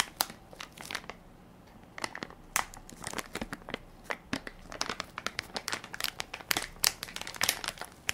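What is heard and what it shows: A hand-sized Equate baby wipes soft pack made of crinkly plastic film, full of wipes, is held in one palm while fingertips and nails press and crinkle the film. Many sharp, bright crinkles and crackles come in quick irregular bursts, with a brief quieter stretch early on. Each snap cuts off instantly, with almost no low end.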